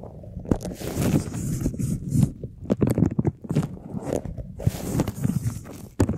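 A large, hollow, empty white flexible plastic duct tube with ribbed walls is held upright in both hands while fingertips and nails scratch and tap along its ribs. The result is a dense run of dry, crackly scrapes and quick taps, mostly low and hollow in tone with bright scratchy edges, rising and falling in short uneven bursts.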